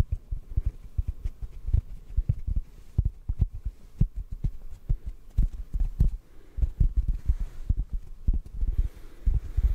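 A large, soft, porous yellow synthetic foam sponge block, held in both hands close to the microphone, is softly tapped with the fingertips. The result is a rapid, uneven series of muffled, deep thumps with very short decay, like a soft throbbing pulse with almost nothing bright above it.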